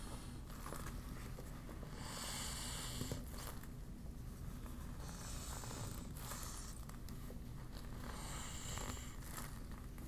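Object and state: Deflated vinyl beach ball, crinkled.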